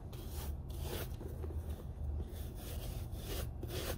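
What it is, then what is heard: Leather work boot being brushed. A brown Red Wing Iron Ranger leather lace-up boot, hollow and empty and held in one hand, is scrubbed with a small wooden-handled bristle dauber brush. Steady back-and-forth brushing and rubbing strokes make a low, dull scraping rasp with broadband swishes that rise and fall with each stroke.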